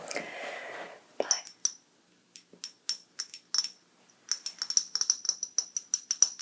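A small heart-shaped ceramic dish is tapped in quick, uneven bursts, about twenty sharp light clicks after a brief soft rustle at the start. Each tap gives a bright, high, almost musical ping that dies away almost at once.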